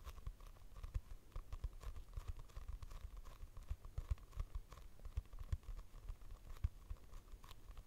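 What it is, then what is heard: Hardcover notebook. A purple hardcover notebook with a barcode price sticker, a solid paper block held near the mic, is tapped and scratched with long nails. The result is a quiet, steady run of soft, dull low taps with dry scratching between them, each tap dying away at once.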